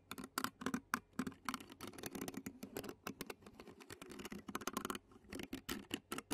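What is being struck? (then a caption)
Metal mesh microphone grille scratched with a plastic fork. The tines of a clear plastic fork scratch and tap across the black metal mesh microphone grille of a handheld Zoom recorder. The result is a quiet, irregular stream of quick, dry scratchy taps and rasps with a bright, crackly edge. Each contact dies away almost at once.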